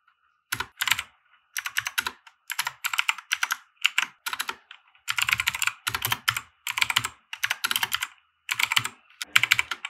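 A compact 60% mechanical keyboard with white plastic keycaps and RGB lighting, resting on a felt desk mat, is typed on with the fingertips of both hands. Bursts of bright, sharp plastic clicks and clacks come in rapid groups separated by short pauses, each keystroke dying away almost instantly.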